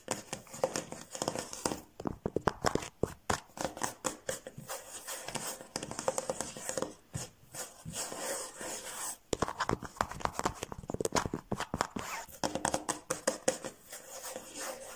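Fingertips and nails tap and scratch the solid top of a large flat laminated wooden table or cabinet with a smooth light-brown laminate or veneer finish. Quick bursts of sharp, dry clicks die away almost instantly, mixed with bright scratchy rasps. There are brief pauses around 7.5 and 9 seconds before the fast tapping resumes.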